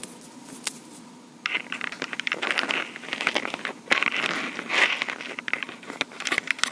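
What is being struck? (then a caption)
Plastic portable recorder casing. Long pink acrylic nails tap and scratch the top surface of a small, hollow black plastic Tascam portable recorder. Quick, sharp clicks mix with dry, bright scratching rustles, with almost no low end. The sound starts quietly and grows busier and louder after the first second and a half, with dense clusters of taps throughout.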